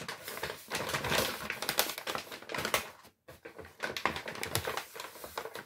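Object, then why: Kraft paper shopping bag. A large, empty brown Lidl kraft paper shopping bag is crinkled and squeezed by hand. Dense, bright crackling and rustling fills the clip, with a brief silent pause near the middle before the crinkling resumes.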